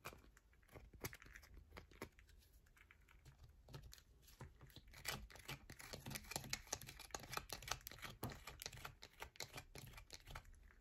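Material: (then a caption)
Soap. Long nails scratch quickly along the top and edges of a solid yellow bar of soap held in the hands, sending shavings falling. Irregular, dry, bright scratches and crisp tapping clicks come in rapid bursts, sparse and soft at first and then denser and louder through the second half.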